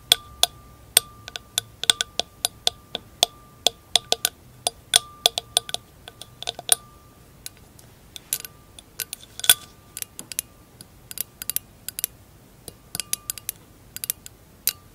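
Long acrylic nails tap and scratch along the thin stem of an empty glass wine glass with a tinted bowl, standing on blue fur. Dozens of short, bright clicks come at an uneven pace, each with a brief high ring and a steady faint tone near 1.2 kHz. Softer scraping strokes fill the gaps between them.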